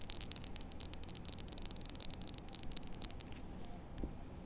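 Long nails rapidly scratch and tap the face and edge of a small, solid white-and-blue plastic poker chip held in both hands. Bright, dry clicks and scratches come in quick bursts over a low, steady rumble. The tapping thins out after about three and a half seconds, with a soft low thump near the end.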